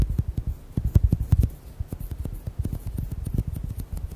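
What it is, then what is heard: Rubber gel bead squishy ball. Fingernails rapidly tap and squeeze an orange, hand-sized, bead-filled squishy rubber gel ball. The result is a quick run of short, dull, low thuds with faint bright clicks on top. The taps grow louder and denser in the first second and a half, then continue more softly.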